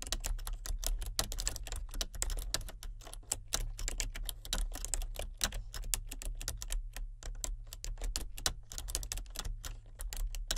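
Fingertips and nails type continuously on a full-size plastic computer keyboard with color-changing backlit keys. Rapid, bright, dry plastic clicks and taps fall in a steady stream over a constant low hum, each keystroke stopping almost at once.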